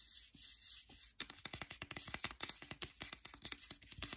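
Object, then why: Cloth-bound hardcover book. Fingers rub and then scratch the spine and cover of a solid "Anne of Green Gables" hardcover with a printed cloth binding. A soft, steady, hissy rub for about a second gives way to quick, bright scratching strokes that continue to the end.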